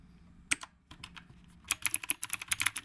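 Fingertips type with both hands on a black retro typewriter-style mechanical keyboard with round plastic keycaps. A single sharp, bright keystroke is followed by a few softer taps, then a quick, steady run of crisp clacks that cut off almost instantly.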